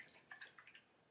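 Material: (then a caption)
Coconut. A white coconut is shaken to check its ripeness, and the water inside sloshes in quick, soft, bright splashes. The sloshing shows the coconut is mature enough to have the fat meat needed for coconut cream.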